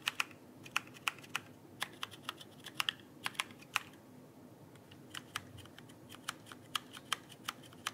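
Fingertips tap the plastic keycaps of a backlit mechanical keyboard held upright in one hand, producing 27 sharp, bright clicks that stop almost instantly. The taps come in irregular bursts, with a pause in the middle, over a quiet steady hiss.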